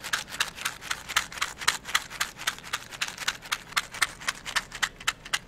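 A small, hollow, translucent plastic cylindrical container filled with wooden toothpicks is held in one hand and tapped with long yellow-painted nails or shaken. It makes rapid, fairly steady, crisp clicky taps, about four per second, that are bright and high-pitched with almost no low end and no ring.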